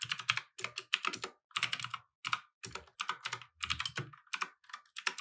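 Both hands type continuously with their fingertips on a compact 60% mechanical keyboard with light and red plastic keycaps, resting on a wooden desk. Rapid, bright plastic taps and clacks come in quick bursts separated by brief pauses. Each keystroke is dry and short with almost no low end.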